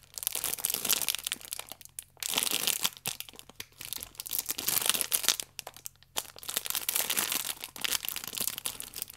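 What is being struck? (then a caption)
Plastic-wrapped stack of sachets. A stack of yeast sachets in clear plastic film with a red band is squeezed and rubbed with fingertips and long nails. It gives bright, dense crinkling in bursts separated by brief quiet gaps.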